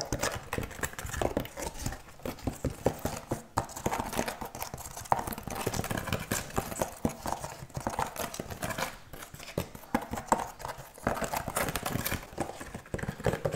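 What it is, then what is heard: Wooden object. A wooden object is tapped rapidly, giving a dense, continuous run of short, hollow clip-clop knocks with a woody mid-range tone. The taps blur together too quickly to count, with slight swells in intensity and a few brief pauses throughout.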